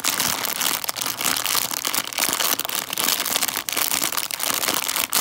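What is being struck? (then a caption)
Plastic bag of foil-wrapped chocolate coins. A small clear-and-printed plastic candy bag (142 g) full of foil-wrapped chocolate coins is squeezed and crinkled with fingertips and long dark nails. It makes a continuous, bright, crackly crinkling with sharp snaps throughout and almost no low end.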